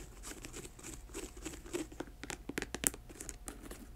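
Long nails scratch and tap the upper near the collar of a hollow, empty black patent leather boot with a thick rubber sole. Soft crinkly scratching runs throughout, broken by quick, sharp, bright taps that stop dead with no ring, heard up close and quiet.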